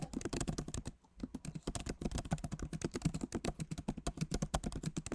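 Both hands tap rapidly with their fingertips on the plastic keycaps of a backlit MacBook Pro Magic Keyboard set in an aluminum body. The result is a dense stream of short, soft, low-weighted clicks and thuds that stop briefly about one second in, then resume at a steady pace.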